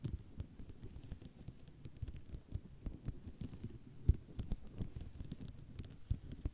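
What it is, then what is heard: Ceramic mosaic tile sheet. Long nails tap and scratch across a white ceramic mosaic tile sheet, making a steady patter of soft, low, dull clicks with brief bright ticks and scraping between them. The sound stays quiet, with occasional sharper taps standing out.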